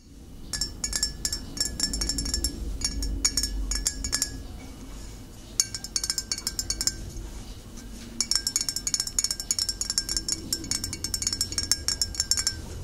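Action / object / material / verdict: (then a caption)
tap / glass bottle / glass / none. Fingernails tap a glass bottle in quick, uneven bursts, making bright, clear clinks that die away almost at once. Short pauses separate the runs of tapping, and a low rumble sits underneath throughout.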